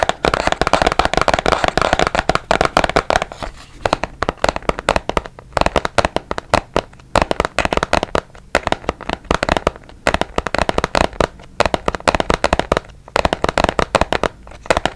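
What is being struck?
Small cardboard box.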